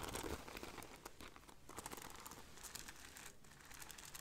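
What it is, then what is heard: Beaded fabric bag scratched. Fingertips and long nails scratch and rub the gold-beaded border of a hollow black cloth bag held by its handle. The result is a steady, crinkly rustle of fast, bright clicks and scrapes with a soft low rumble underneath, staying fairly even throughout.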